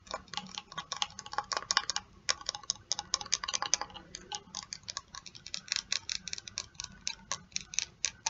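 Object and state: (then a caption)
Plastic spray bottle. Long nails tap and scratch a medium plastic hair spray bottle, partly filled with pink liquid and topped with a black pump. The result is a quick, irregular run of bright, dry clicks and scrapes with almost no ring and very little low end, much like a ticking clock.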